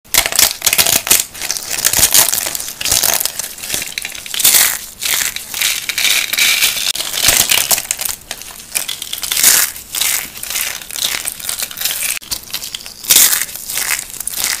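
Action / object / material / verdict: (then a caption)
scrape / rolled soap curls / soap / none. Two hands with dark-painted nails grip a round set of hollow, rolled yellow and gold dry soap curls and tubes, crushing and crumbling them with their fingers. Dense, dry crunching and crackling fills the clip in bursts of rising and falling intensity, bright and high with almost no low end. Each crunch dies away quickly.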